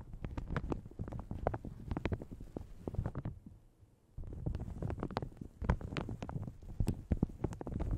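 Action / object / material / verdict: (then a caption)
scrape / plastic shower cap stretched over a microphone / plastic / none. Long red nails scratch and crinkle a light blue plastic shower cap stretched over a large hollow Yeti microphone. The result is a dense stream of low, muffled crinkles and soft taps, with a brief quiet pause in the middle before the crinkling resumes.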